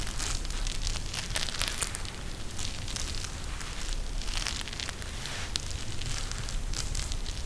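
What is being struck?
Gel bead eye mask with plastic cover.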